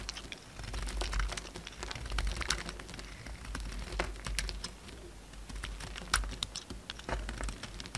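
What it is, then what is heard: Dry, crumbly soap bar. A utility knife blade cuts and scrapes a solid orange bar of soap, chipping off dry, crumbly pieces. Rapid, crisp, bright clicks and crackles come in an irregular stream over a steady low rumble, each snap dying away quickly.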